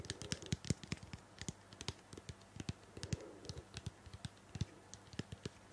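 A medium blue-purple plastic shampoo bottle, hollow and likely filled, is held in the hand and tapped and scratched with long painted fingernails. About thirty quick, dry taps sound in an irregular run, each a dull low knock with a bright clicky edge that stops almost at once. Soft scratching fills the gaps between them.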